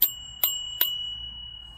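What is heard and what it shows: A metal scooter handlebar bell, pressed and moved back to a 1 mm gap as the fix for a dull-sounding bell, is struck three times in quick succession. Each strike gives a bright, high metallic ding, and a steady ring lingers after the last one. The properly adjusted bell sounds clear rather than dull.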